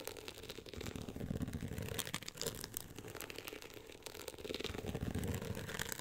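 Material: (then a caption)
Cloth-covered board. Long acrylic nails scratch and tap the woven-texture beige cover of a closed hardcover book lying flat on a pink fur rug. A continuous dry, rough scraping with many quick ticks is heard, with a soft low rumble that swells around the middle and again near the end.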